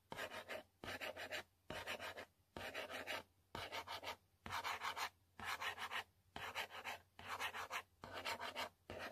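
A long pointed fingernail scratches and rubs across the flat printed panel of a yellow cardboard box for a selfie stick, in close-up. Eleven separate scratchy, rasping strokes, each just under a second long and divided by short pauses, carry a bright papery texture with little low end.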